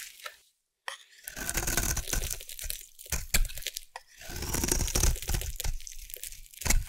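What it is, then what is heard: Bar of soap being shaved. A metal blade shaves along the edge of a solid orange rectangular bar of soap. After a brief pause near the start, dense crunchy, tearing scrapes run on in uneven bursts, with bright crackle over a low rumble.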